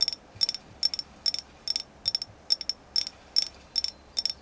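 Fingertips tap steadily on a carved agate moon goddess figure, making eleven quick bursts of light, bright, clicky taps, many of them doubled. Each tap rings for only an instant, with a high glassy tone and almost no low end.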